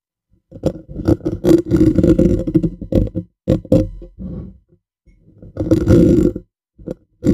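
Painted fingernails of both hands scratch and tap the bare, hollow black metal mesh grille of a USB condenser microphone on a stand. Dense bursts of close, rustling scratches and quick taps with a boomy low-mid body come in uneven clusters, pause briefly near the middle, then resume.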